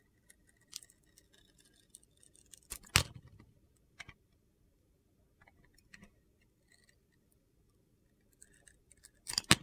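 A utility-knife blade peels the blue glitter coating off a hand-sized solid bar of white soap, held in a hand with red nails, then scrapes the soap beneath. The result is quiet, crisp, gritty scratching and crackling in short, scattered bursts, with louder rasping scrapes around the third second and at the very end.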